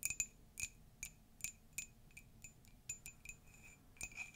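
Long nails tap and scratch the outside and rim of an empty, hollow pastel Dumbo ceramic mug. About a dozen quiet, bright clicks give off short high ringing tones, with faint scratching between them.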